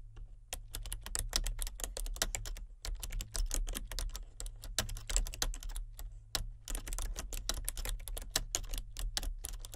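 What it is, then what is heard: Plastic computer keyboard, typing. Both hands with painted nails type with their fingertips on a full-size plastic computer keyboard with color-changing backlit keys, in the dark. There is a continuous stream of sharp, bright clicky keystrokes at an uneven pace, with brief pauses, over a steady low hum.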